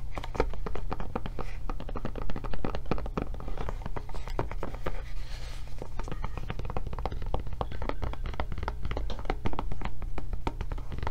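Long nails tap rapidly and unevenly on the back and handle flap of a blue silicone rubber tablet case, producing a stream of short, dull clicks that die away almost instantly. A steady low hum sits underneath the tapping throughout.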